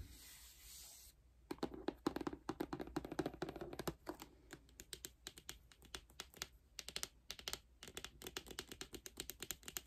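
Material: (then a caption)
Cardboard. Long glossy nails tap rapidly on the front cover of a large, hollow, lime-green rigid cardboard K-pop album box held upright. After about a second of faint hiss, quick, dry clicks follow in dense bursts for the rest of the clip, with a hollow body around 300 Hz and almost no ring.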